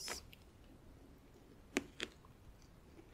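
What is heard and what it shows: Long nails tap lightly on the front and side edges of a closed, hollow, clear plastic compartment organizer filled with press-on nails. Four quiet, short, bright clicks land at uneven intervals with almost no ring, leaving a faint hiss between taps.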